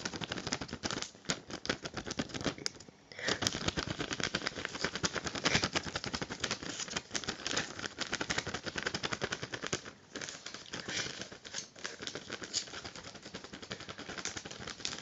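An empty, small, thin clear plastic bag or sleeve is held in both hands and crinkled and squeezed with the fingertips. It makes dense, rapid, bright crackling that runs almost nonstop for about fifteen seconds, with brief dips near the three- and ten-second marks.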